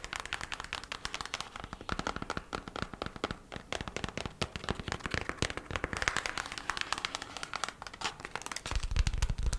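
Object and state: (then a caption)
Cardboard packaging sleeve. Long matte nails tap quickly on the thin kraft cardboard sleeve of a beeswax wrap package, folded open. A steady stream of crisp, dry, papery clicks with very short decay and a hollow mid-range tone. Some duller, deeper thumps come near the end.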